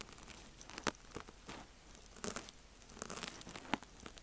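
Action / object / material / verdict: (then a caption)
scrape / foam kitchen sponge / foam / none. A thin wooden ear pick scratches and rubs inside the cut slit of a pink, wavy, ear-shaped foam kitchen sponge resting on a rattan mat, with the slit held open by a metal tool. The soft, porous foam gives off a quiet, dry stream of crinkling, tearing scratches and brief crunchy clicks, several of them sharp, bright and very short.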